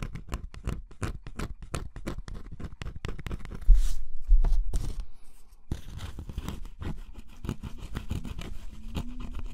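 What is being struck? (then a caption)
Cardboard scratch-off jigsaw puzzle coating. A pointed wooden stick scratches the black scratch-off coating from a cardboard jigsaw puzzle, revealing an orange picture underneath. Quick, irregular scratchy strokes crackle close up, with a louder, steadier scrape near the middle before the short strokes resume more softly.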